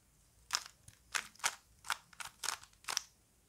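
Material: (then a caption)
Plastic. A small plastic Rubik's cube is held in both hands while fingers twist its layers. The result is a quick series of eight short, snappy plastic clicks, bright and crisp with almost no low end and no ring between them.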